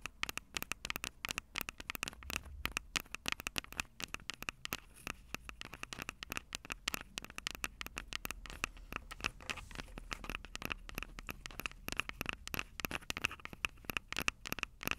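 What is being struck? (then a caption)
Plastic handheld audio recorder with metal-grilled microphones. Long purple acrylic nails tap and scratch rapidly on the two metal-grilled microphone capsules of a Tascam DR-05 handheld recorder with a plastic body. Dense, sharp, dry clicks run throughout with no ring, with a bright edge and a steady tone near 2.6 kHz over a faint low rumble.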